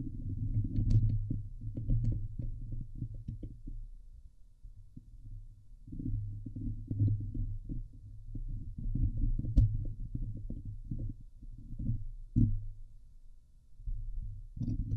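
Long painted nails scratch the hollow steel wire-mesh grille of a Blue Yeti microphone head. The result is a dense, muffled low rumble of rapid scratching strokes centered around 100 Hz, coming in bursts that swell and fade, with occasional sharper clicks.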